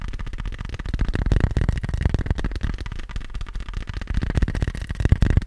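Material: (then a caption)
Fabric. A small, hollow, black fabric-covered hard glasses case is held in one hand and tapped fast with the fingertips and nails of the other. The result is a dense, continuous patter of short, dull, hollow low thuds with faint clicky edges, lasting about five seconds.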